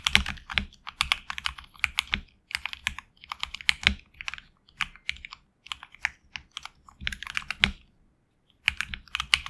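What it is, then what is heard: Mechanical keyboard with PBT keycaps. A HyperX Alloy Origins Core mechanical keyboard with HX Red switches and backlit black and red PBT keycaps is typed on with fingertips. Quick bursts of crisp, bright clacking keystrokes, each dying away almost instantly, are separated by short pauses. A longer silence comes near the end before the typing resumes.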